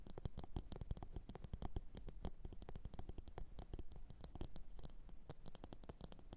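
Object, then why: Upturned ceramic bowl. Long orange nails tap rapidly and continuously on a medium glossy blue ceramic bowl, hollow and empty, resting upside down on a fur mat. The taps are short, dry clicks with a soft low thump underneath and almost no ring after each one.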